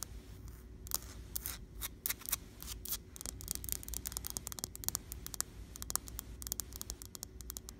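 Long blue-painted fingernails tap and scratch a flat, solid, painted white interior wall. Quick, bright, dry clicks and scratchy rasps come in rapid, uneven bursts over a steady low hum, each tap dying away almost instantly.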